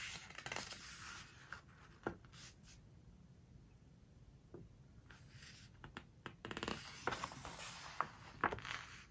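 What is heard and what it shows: Hands lift, turn and press the glossy printed pages of a home decoration book with fingertips and long nails. Crisp, bright paper rustles come in short bursts, then a quiet stretch, followed by louder rustling with sharp little clicks and snaps toward the end.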